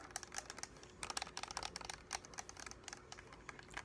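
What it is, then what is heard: Plastic game controller. A hollow translucent blue and white plastic gamepad is held in both hands and tapped and clicked with fingertips and nails. A quick, uneven run of sharp, bright plastic clicks and taps is heard, each dying away almost instantly, with little low end. A faint steady tone sits beneath them.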